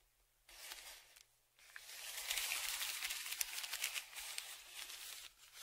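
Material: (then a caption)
Kraft paper. A dark flat stick scrapes and scratches across the crinkled surface of a large brown kraft paper Amazon padded shipping envelope lying flat. After a quiet start, a short burst of bright, hissy scratching is followed by a brief pause. Then comes a longer, steadier stretch of dry, crinkly scraping that rises and dips until the end.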